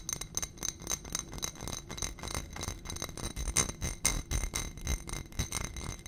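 Long nails rapidly tap and scratch on a small ribbed glass dish on a gold stem holding white contents. Quick, irregular clicks and scrapes mix with short, bright glassy pings that die away almost at once, over a low rumbling undertone.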